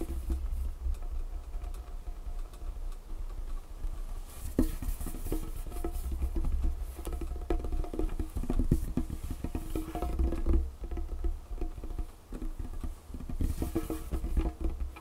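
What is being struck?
Wooden tabletop.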